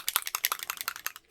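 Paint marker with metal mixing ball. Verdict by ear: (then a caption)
Loose. A burgundy-copper metallic paint marker is shaken so the loose mixing ball inside rattles in a quick run of bright, sharp clicks. The clicks are closely spaced, with no low end and almost no ring. The rattle shows the paint is mixed and ready to apply around the edge of an envelope.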